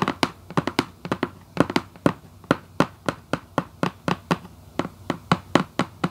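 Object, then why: Cardboard shoebox lid. Long white acrylic nail tips tap in quick bursts on the lid of a hollow red Vans cardboard shoebox. About 25 short, dry, hollow knocks with a low-mid body come in uneven clusters, each dying away almost instantly.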